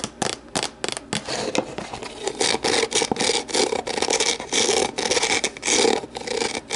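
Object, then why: Empty plastic deli container. Long nails scratch and rub the walls of an empty, hollow, translucent plastic deli container, first set upside down and then lifted. Irregular bursts of dry, bright scraping follow in quick succession, with almost no low end and no ring after each stroke.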